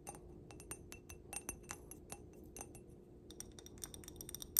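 A stemmed wine glass filled with pink glitter is tapped on its glass base and bowl with long black nails, producing a quick, uneven run of clear, bright glass clinks. The clinks sit over a low, steady background hum, and the last tap near the end rings loudest.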